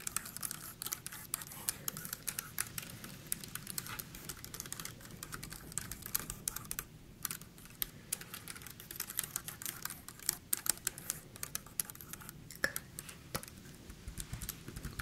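Long painted nails tap and scratch across the round keys and plastic case of a pink wireless computer keyboard held upright in both hands. The result is a quiet, steady stream of quick, dry, bright clicks with soft scratching in between, each tap stopping short with no ring.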